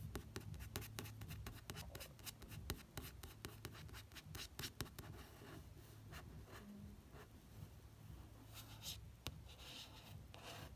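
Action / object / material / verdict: scrape / paperback book, card cover / card / none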